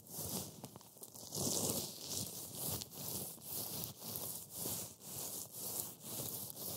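A pile of dry, brittle green matcha wafer crumbs on a white board is rubbed and squeezed by black-gloved fingers. The fingers make a steady, rhythmic series of bright, crunchy rustling swells, each a grinding crackle heavy in the high range that rises and fades. The crumbs break down further with every squeeze.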